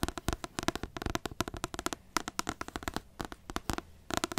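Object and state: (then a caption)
Paperback book tapped with nails. Long nails tap and scratch the glossy card front cover of a large, solid paperback book in a rapid run of quick, dry clicks. Each tap is sharp and dies almost instantly, with a bright edge and a faint scratchy rasp between the hits.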